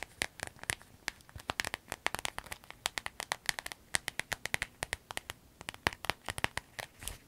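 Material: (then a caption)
Vinyl. Long nails tap, scratch and crinkle a small clear vinyl zip pouch with yellow trim while hands squeeze it. Dozens of quick, dry, bright clicks and crinkles come in an uneven pattern. Each dies away almost at once, with a crisp tone near 1.9 kHz and very little low end.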